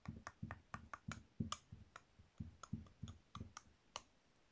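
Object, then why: Bar of soap carved with a metal peeler. A solid pink soap bar is carved with a metal peeler-style tool, peeling off thin soap curls. Fifteen short, crisp scraping clicks each carry a low thud under a thin bright edge and die away almost at once.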